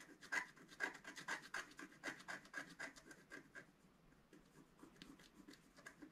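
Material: Coated paper.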